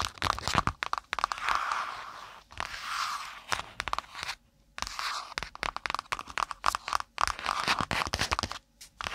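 Long pointed nails rapidly tap and scratch the brown kraft cardboard cover of a spiral notebook held over the mic. Dense, dry, crunchy clicks and papery scraping bursts center around 1 kHz with little low end. Short silent gaps come near 4.5 and 8.6 seconds.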